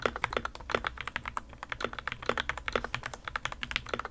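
Two hands type continuously with their fingertips on the plastic keycaps of a modded RK61, a white plastic 60% mechanical keyboard resting on a desk mat. A steady run of rapid keystrokes produces short, dry clacks with a rounded mid-pitched thock and bright click edges, each dying away almost instantly. A faint low hum sits underneath.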